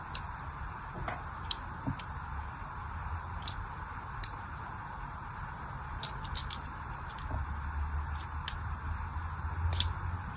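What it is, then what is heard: Soap bar scored with a blade. A thin blade tip scores fine lines into a solid, palm-sized pink striped soap bar held in the hand, making short, crisp, bright scratching ticks at irregular intervals. The ticks sound over a steady low rumble and a faint mid-range hiss.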